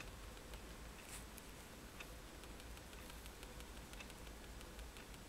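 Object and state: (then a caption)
Paper sheet. A fineliner pen tip taps dots onto a flat sheet of white drawing paper resting on a table, producing a series of soft, bright ticks. The ticks sit over a steady, quiet low hum with faint background hiss throughout.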